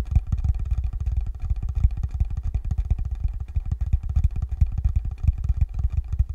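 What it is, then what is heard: Hollow wooden box. Fingertips tap rapidly on the top of a small, hollow, rectangular wooden box held flat in both hands. The result is a steady run of short, deep, bass-heavy thuds with almost no ring and no high-frequency content.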